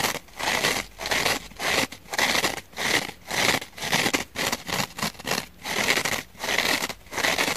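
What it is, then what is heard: Kitchen sponge scouring pad. Long painted fingernails scratch back and forth across the rough, fibrous scouring-pad side of a purple kitchen sponge. The strokes come as a quick series of bright, dry, scratchy bursts separated by short pauses, with a faint tonal edge around 2 kHz and almost no low end.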